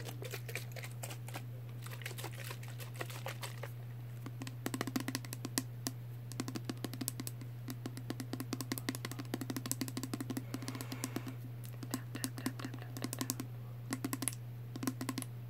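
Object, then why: Small plastic spray bottle with liquid. Fingernails tap rapidly on a small pink plastic Body Fantasies perfume spray bottle with liquid inside and a clear cap, held in the hand. Dense bursts of short, bright, clicky taps with quick decay sit over a steady low hum.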